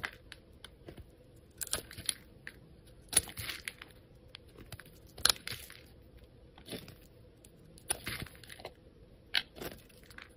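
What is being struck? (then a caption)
Bar of soap shaved with a metal blade. A solid grey soap bar held in the fingers has thin slices shaved off it by a metal utility blade while fingers handle it. Quiet, bright, crisp scraping and crackling bursts come in short, dry strokes with no ring, over a faint low hum.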